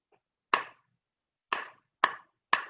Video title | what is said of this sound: Learning with Nature with Melanie - 8/31/2020 | if it's a good, solid, fresh stick, it makes a stronger sound. And my sticks are a little bit old, so they make it kind of a dull sound